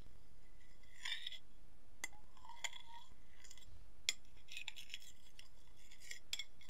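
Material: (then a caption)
Ceramic. An empty white ceramic plate, held tilted, is tapped and scratched on its rim and surface with fingertips and fingernails. Quiet, bright clinks and ringing tones around 3.4 kHz rise over a steady low rumble, with scattered sharp ticks and soft scraping between them.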